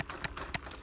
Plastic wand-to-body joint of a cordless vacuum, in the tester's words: you can hear it you can see it wiggle side to side it's not very secure